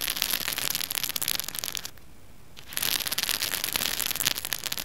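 A small pink plastic hair roller, a hollow cylinder with bristles and a textured surface, is held in one hand and scratched with fingernails. The result is a dense, bright, crackling scratch that stops briefly for under a second midway, then resumes just as busy until the end.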